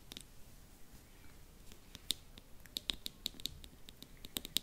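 A small, hollow teal plastic slime container or tube, held in both hands above the microphone, is tapped and clicked with long manicured nails. The result is a scattered series of sharp, dry, bright clicks centered around 3.8 kHz with almost no ring, over a faint, quiet background.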